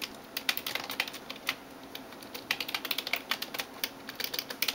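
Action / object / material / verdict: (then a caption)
tap / plastic computer keyboard keys / plastic / none. Fingertips and nails tap rapidly on the keys of a backlit plastic computer keyboard. The result is a quick, uneven run of short, bright clicks that decay almost instantly, with no low end.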